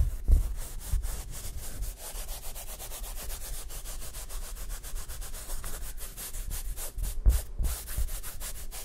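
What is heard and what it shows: Fingertips rapidly rub and scratch the taut nylon fabric surface of a large, round, collapsible photography reflector disc on a wire frame. The result is a fast, continuous stream of dry, brushing scratches with a bright hiss over a deep low thump, with a couple of louder bumps near the start and end.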